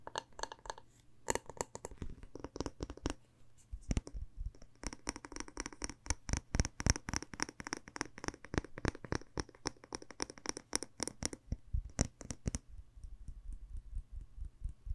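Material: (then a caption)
Glass. Long nails tap and scratch a red glass candle jar with a floral label, full of wax, working over both the glass and the label. Quick, irregular taps come in dense bursts, with bright clicking edges over dull low thuds and short scratchy rasps. Each tap dies away almost instantly, with no ring.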